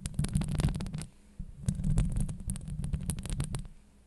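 Long nails scratch and tap a hollow metal mesh microphone grille, producing a dense run of close, booming thumps and scrapes dominated by deep low rumble. The sound drops out briefly just after the first second, then resumes in another busy burst before fading toward the end.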